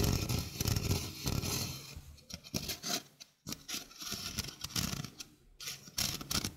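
A small, hollow stainless steel mesh sink strainer is held in the hand while fingernails scratch across its mesh. The result is irregular bursts of bright, gritty scraping and raspy ticking over a low, hollow rumble, separated by brief near-silent pauses.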